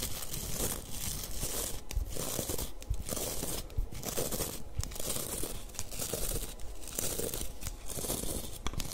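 Long nails and fingertips scratch and rub the dense white nylon bristles of a small pink plastic-handled scrub brush. The result is a steady, crinkly scratching rustle in rhythmic passes, with brief dips between strokes and occasional sharper clicks. The texture is crisp and bright, over a close, low rumble.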